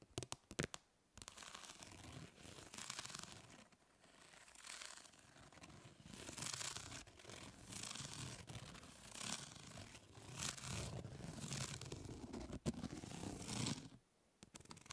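Long nails scratch across a plastic grid-mesh fly swatter lying on a table. After a few sharp taps, a continuous bright, rasping scrape rises and falls in repeated strokes for about thirteen seconds before stopping abruptly.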